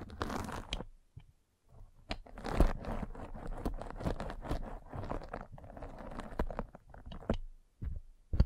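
A metal-spiked derma roller is rolled across the top of a white fabric mesh net stretched over a round microphone head. It makes dense, crunchy, scratchy crackling with deep low-end thumps, broken by short pauses between passes.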